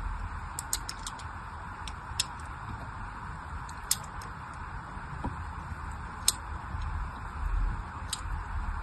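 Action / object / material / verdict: scrape / bar of soap cut with a fine blade / soap / none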